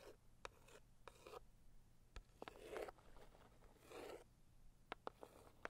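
A single long acrylic nail scratches across the lid of a hollow, medium pink floral Saviland cardboard box. Soft, breathy rasping strokes are broken by sharp, dry clicks with almost no ring. The scratches have a low-mid papery body and a faint bright edge.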